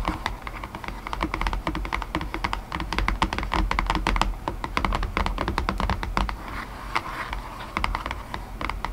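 Long painted nails tap rapidly on an empty white cardboard box lid, inside surface up, resting on top of its base. The result is a dense, steady run of short, dry clicks with no ring, centered around 900 Hz over a soft low rumble.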